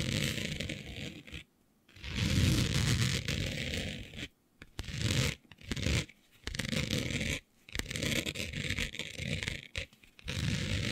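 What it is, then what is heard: Printed fabric scratched with nails. Long nails scratch back and forth with both hands across a flat sheet of dark fabric printed with planets. The result is a steady, rasping scrape with a deep rumble under bright hiss, broken by several short silent pauses between bursts.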